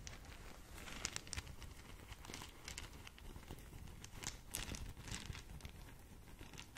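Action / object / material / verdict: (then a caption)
scrape / satin fabric drawstring bag / satin fabric / none. Long nails scratch and crinkle a small green polka-dot satin drawstring gift bag close to the microphone. The result is a soft, steady rustle with bright, scratchy bursts of crinkling over a low, dull rumble.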